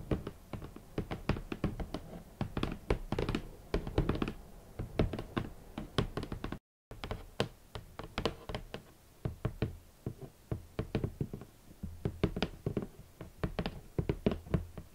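Fingertips and long nails knock and tap on a large, hollow, rigid red cardboard shoe box, making a steady run of quick, dull knocks. The hits are mostly low and thumpy with only a slight bright click from the nails, and each dies away almost at once. There is a brief moment of silence partway through before the tapping resumes.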